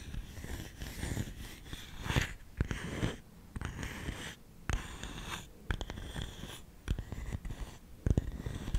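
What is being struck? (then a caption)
Lidded bamboo canister. Fingernails scratch and tap the lid of a round, hollow, lidded bamboo canister engraved with the word SALT. Dull, low-heavy taps cut through a continuous dry scratching rustle with bright, hissy streaks. Each tap stops almost instantly, with no ring.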